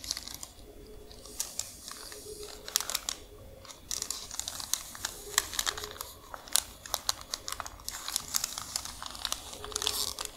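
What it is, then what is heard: Paper receipt being crinkled. A long strip of white paper receipt, flattened and then folded, is scratched and crinkled by long nails. The result is a dense run of quiet, bright crackles and sharp ticks with almost no low end, plus a faint steady hum underneath.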